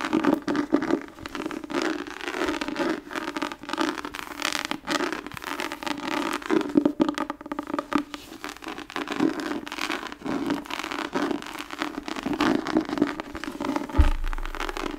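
Long acrylic nails scratch across the tooled pattern of a thick, solid hardcover book or journal with an embossed tan leather cover, held upright in both hands. The result is a steady stream of dry, rasping scrapes and crackles with a droning hum near 300 Hz, and a brief low thump near the end.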